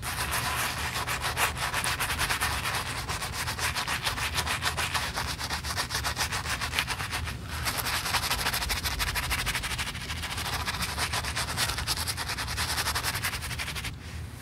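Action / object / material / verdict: scrape / leather high-heel shoe scrubbed with a bristle brush / leather / none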